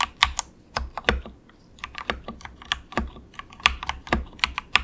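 A compact 68-key wireless mechanical keyboard with grey and orange plastic keycaps and a hollow plastic case, resting on a desk mat, is typed on with the fingertips of both hands in quick taps. About twenty short, bright, clacky keystrokes come in an uneven rhythm, each dying away almost instantly, with a faint low thump beneath some of them.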